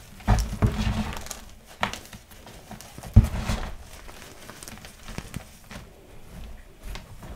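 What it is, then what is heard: Crushed gym chalk powder. Two bare hands press into a plastic bin full of crumbled white gym chalk (magnesium carbonate) with pink glitter, rubbing, squeezing and crushing the loose powder and small chunks. The result is soft, dull thumps and crunchy crumbling at an irregular pace, heavy in the low end with little brightness. Louder pressing bursts rise above a quiet, gritty rustle.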